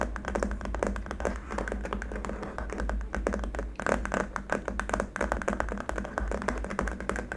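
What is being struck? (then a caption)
Plastic keyboard wrist rest. Fingertips with short nails tap rapidly on a long, flat white plastic keyboard wrist rest lying on a dark mat, using both hands. The result is a dense, continuous patter of short, dull clicks over a steady low hum.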